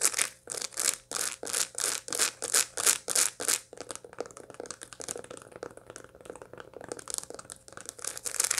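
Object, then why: Dried sunflower head with seeds. A dried sunflower head with its seeds still attached is held in both hands and scratched over the seeds with long light-blue nails. About ten loud, bright, rasping strokes come in a steady rhythm, then give way to quieter, quicker crackly scratches and light clicks that swell again near the end.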